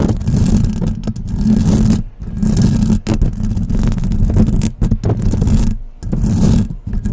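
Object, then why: Metal mesh microphone grille. Long press-on nails scratch and tap across the silver metal mesh grille on top of a desktop microphone. The sound is a close, dense scraping and rustling with a strong low-end rumble and a steady hum near 220 Hz. It is broken by brief silent gaps and quick tapping bursts.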